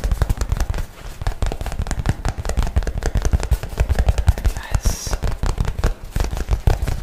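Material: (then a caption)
Nylon. A light blue nylon messenger bag is held up while fingernails rapidly tap and scratch its fabric surface. The result is a fast, dense stream of short, dry, low-heavy taps with brief scratchy rustles in between.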